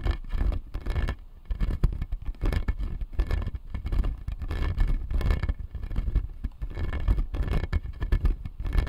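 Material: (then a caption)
Plastic. Fingernails scratch the blue resin molars on the lower arch of a clear acrylic dental jaw model. The result is a dense, continuous run of rapid, dry scraping strokes that is mostly low and muffled, with no ringing after each stroke.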